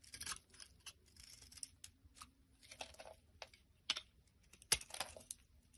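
A black blade repeatedly scrapes crumbly flakes off a solid lilac bar of soap held in the hand. The sound is a series of quiet, bright, dry scratchy strokes at an irregular pace, with a couple of sharper, louder scrapes near the end.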